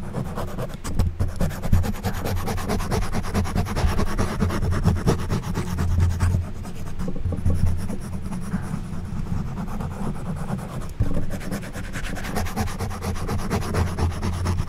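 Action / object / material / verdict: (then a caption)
scrape / foam microphone windscreen scratched with a plastic back scratcher / foam / none. An orange plastic back scratcher held in the hand is rapidly scratched up and down over a black foam windscreen on a silver microphone. The result is a dense, continuous scratching and rubbing sound, heavy and muffled in the low end with very little brightness. The level stays steady throughout, with a brief dip just after the first second and a short jump near eleven seconds.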